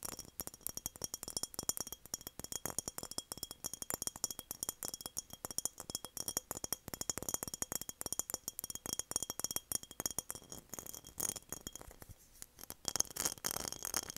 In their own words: 7:26 - tapping on mason jar